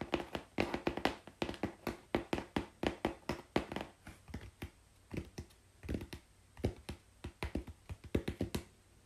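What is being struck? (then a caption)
Corrugated cardboard sheet. Long pink-painted fingernails tap quickly on a flat brown corrugated cardboard sheet held at an angle on a lap. The result is a fast, irregular run of short, dry taps, each a hollow low thump with a bright papery click that dies away almost instantly.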